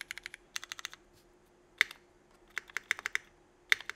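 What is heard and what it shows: A single fingertip presses individual keys one at a time on a 65% mechanical keyboard with Cherry Vintage Black switches, an aluminum plate and red and black GMK Burgundy ABS plastic keycaps. About twenty short, bright clacks come in quick bursts separated by a pause. Each keystroke ends instantly with no ring.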